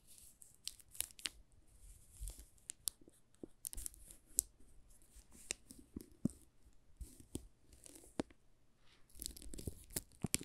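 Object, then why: Soap bar wrapped in plastic film. Fingertips rub and scratch the plastic film wrapped around a solid green soap bar with a paper label, working along its edge and top. Quiet, bright crinkles and sharp crackling snaps come in a steady irregular stream over a soft low rumble, swelling into a denser burst near the end.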